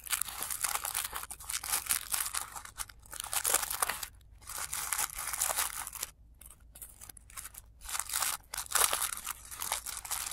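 Fingers fold and crinkle the petal layers of a blue tissue paper flower resting on black cloth, with the sound played in reverse. Bright, papery crackling comes in dense bursts, broken by short silent gaps, with almost no low end.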